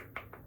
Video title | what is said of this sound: GRWM: Morning Routine & Makeup | It's a really tiny bottle, but I'm always afraid I'm gonna break it because it sounds like glass.